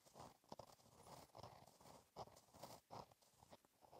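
A gel pen tip scratches across a flat, black lined page of a black paper notebook while writing cursive. Soft, dry scratching strokes come in short bursts with brief pauses, centered in the mid range with faint bright hiss. The sound stays quiet and close.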